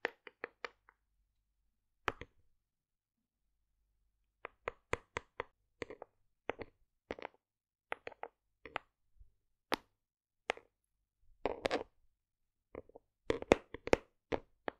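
A hollow white plastic OstroVit supplement tub has its flat lid tapped with long decorated nails. The result is short, dry, hollow clicks and knocks in irregular clusters, with a woody mid-range body and bright nail ticks. The quiet gaps between bursts are nearly silent.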